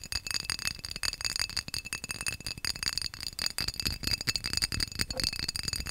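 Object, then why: Textured glass vase. A textured glass vase is tapped fast and aggressively, giving a dense, continuous run of bright, clinking glass taps. Each tap dies out almost instantly, with a faint high glassy ring carrying through.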